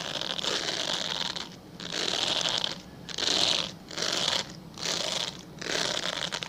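A translucent solid glycerin soap bar, held horizontally, is scratched with fingernails in six bursts of dry, bright scratching separated by short pauses. Each burst is a steady, hissy rasp concentrated in the high frequencies, with almost no low end.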